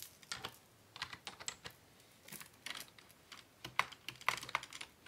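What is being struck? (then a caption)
Plastic computer keyboard. Both hands type steadily with their fingertips on a hollow black plastic Dell desktop keyboard resting on a wooden desk. The result is a continuous, irregular run of crisp, bright key taps with almost no low end, each click dying away almost instantly, with brief pauses between bursts.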